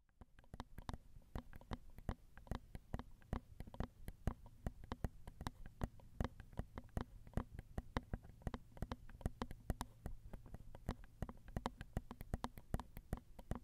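Long acrylic nails tap steadily on the two crossed metal X/Y microphone capsules and the small, hollow silver housing of a handheld Zoom recorder. The result is a quick, uneven stream of short, dry clicks and ticks with a hollow, low thump beneath each one, over a faint low hum.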